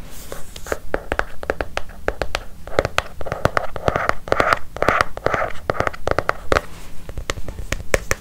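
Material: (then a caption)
Leather. Long fingernails tap and scratch the cover and spine of a closed brown leather-covered notebook held close to a microphone. Quick, irregular clicks, over a hundred per minute, are mixed with soft, brushy scratching that swells in the middle. The result is a dry, close-up texture with little ring.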